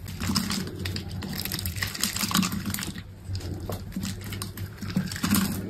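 A steel utility blade scrapes and cuts cubes off a solid, grid-scored bar of green soap held in the hand. The result is a dense run of crisp, dry scraping and crackling with many quick ticks and bright, papery crunches over a steady low undertone.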